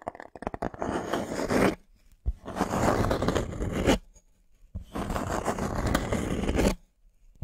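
A thin, flat, solid light-wood plank is held in both hands while fingernails scratch and rub across its face. A quick run of light taps and scrapes opens into three long, dry, crunchy scratching passes, separated by short silences. The sound is mostly low and midrange, with little high-end brightness.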